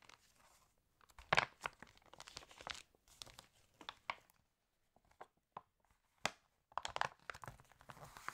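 Long nails tap and scratch the pages of an open, water-damaged glossy paper fashion catalog lying on a table, and the pages are turned. Sharp, bright crinkles and papery tearing rustles come in irregular bursts separated by short quiet gaps, with little low end.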